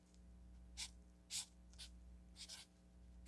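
A felt-tip marker writes on a solid stack of orange paper sticky notes resting on a table, making short, bright, scratchy strokes in irregular bursts. A faint steady low hum runs underneath.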